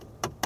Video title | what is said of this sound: 벤츠 S350d 시승했습니다....(출고정보있습니다!!) | 이런 나무 같은 경우도 두드려 보면은 플라스틱 같은 소리가 나요